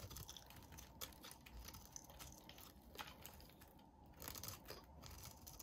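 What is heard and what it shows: A solid, hand-sized soap bar with a yellow core and red rim is held in the hand and shaved with a utility blade. Quiet, crisp crunching and scraping cuts run throughout, with sharp bright clicks standing out above a soft low rustle.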